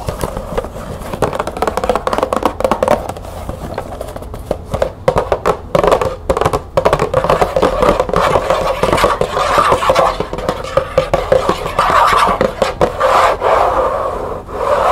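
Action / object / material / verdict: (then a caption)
scrape / small cardboard tea box / cardboard / none. Long nails scratch the sides of a small, closed green cardboard tea box held upright. The result is a steady, dense run of dry scraping and light tapping strokes, strongest in the mid-range with a faint bright edge. Each stroke dies away quickly, and a low background hum sits underneath.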